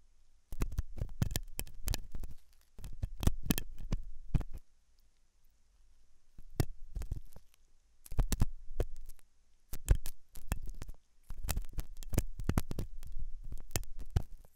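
A thin hooked metal dental tool scratches inside the ear canal of a white, soft, solid-looking silicone dummy ear on a binaural microphone. Bursts of close, low, thumping scratches and clicks come in clusters separated by short quiet gaps.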